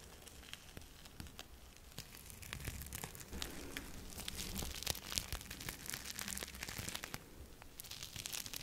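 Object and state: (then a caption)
Sequined fabric glove rubbed on glass. A red plastic-sequin fabric glove on a hand is rubbed and swept across camera glass close up. It makes a dense, irregular crinkling and crackling with many quick bright ticks over a low rumble, growing slightly louder in the middle.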